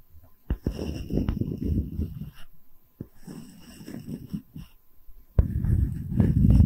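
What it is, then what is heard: Wooden tree slice coaster. A solid wooden tree slice coaster with bark, held flat, has its top surface tapped rapidly with long red nails. It gives bursts of quick, dull, low-pitched taps with almost no ring, pausing briefly and then growing louder and denser toward the end.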